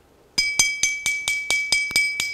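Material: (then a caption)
Stone. A stone lithophone, held with tape at its acoustic node, is tapped repeatedly. It gives loud, clear, bright ringing tones with strong high overtones, and each strike rings on briefly before the next. About ten taps are heard in quick succession.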